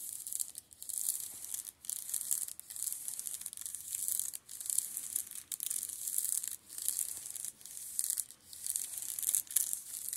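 Spread fingertips scratch and rub the plastic shrink-wrap film on the spines of a row of paperback manga. The result is a bright, hissy crinkling and scratching, almost entirely high in pitch with no low end, coming in repeated rubbing bursts separated by brief quiet dips.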